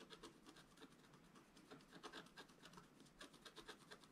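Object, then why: Coated scratch art paper sheet. A wooden stylus scratches and rubs across a flat black coated scratch art paper sheet resting on a table. It makes a quiet, steady run of short, dry scratching strokes with bright, hissy rasps and a soft papery rub beneath them.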